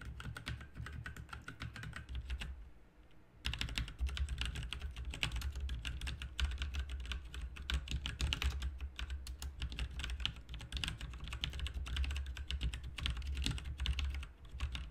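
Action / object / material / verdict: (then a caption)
tap / plastic mechanical computer keyboard / plastic / none. Fingertips of both hands type continuously on a full-size backlit RGB mechanical computer keyboard with plastic keycaps on a hollow plastic/metal case. The result is a dense stream of short, quick-decaying clacks with a deep hollow thump under bright clicky tops. There is a brief pause near the 3-second mark before the typing resumes.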